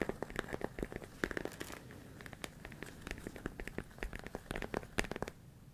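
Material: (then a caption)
Plastic. A large clear plastic food storage container with a lid, filled with rice, is held close and tapped and scratched on its walls with fingertips and nails. Quick, dry clicks and taps cut through a soft, crinkly scratching texture, with the grains faintly shifting inside. Each tap stops almost instantly, leaving a close, intimate rustle.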